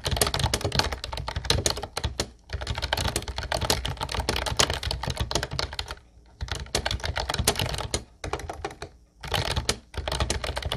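Fast fingertip typing with both hands on a light blue Ubotie retro keyboard with a hollow plastic body and round white keycaps produces dense, bright clacking bursts with a hollow low thump under each keystroke. The typing runs in quick streams broken by short pauses near 2.3, 6.2, 8.2 and 9.5 seconds, and each click dies away almost instantly.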